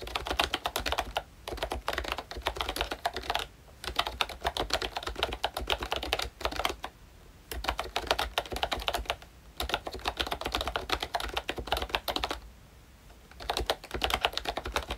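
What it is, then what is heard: Plastic membrane keyboard. Fingertips of both hands type on a full-size pink Mickey Mouse retro keyboard with a plastic case, round dark green plastic keycaps, and membrane switches. Bursts of quick, dry, clacky taps run in steady streams, broken by a few short pauses.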